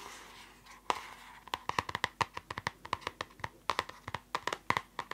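Long nails tap quickly on the plastic cover of a closed purple spiral notebook. After a soft scratchy rustle, a rapid, uneven run of sharp, dry clicks follows, each with a hollow tone near 1 kHz and a bright edge. The clicks die away almost instantly.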